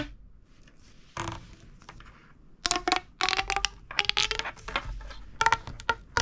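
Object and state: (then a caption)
Plastic pop tube toy. A small, hollow, red-orange corrugated plastic pop tube, held in both hands over a wooden table, is stretched and compressed. Its ribs pop and crackle in bright, sharp bursts with a short tonal ring near 900 Hz. Quiet gaps fall between the louder clusters of snaps.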